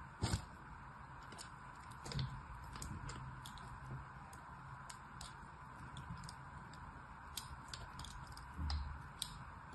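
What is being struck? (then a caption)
Soap bar. A thin blade scores crossing lines into the top of a small solid red bar of soap, held by fingertips on a patterned cloth with other soap bars lined up nearby. Soft, dry scratching and scraping strokes come with faint, crisp high ticks over a steady low background hum. The cuts are quiet, with a few slightly louder scrapes near the start and end.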